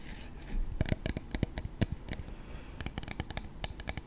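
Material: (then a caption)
Plastic. A clear plastic body mist spray bottle, about 15 cm tall with a black cap and partly full of purple liquid, is held in both hands and tapped repeatedly on its sides with short fingertips and nails. The result is a quick, irregular run of dry, clicky taps, each with a dull low knock and a bright tick that dies away at once, over a faint soft rustle.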